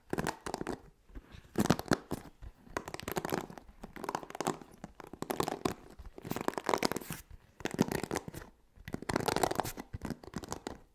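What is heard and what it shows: Fingertips and nails scratch and brush across the black cushioned bristle pad of a hand-sized blue plastic paddle hairbrush held close to the microphone. Dense, bristly scratching comes in repeated bursts separated by brief pauses, with bright crackling detail over a soft low body.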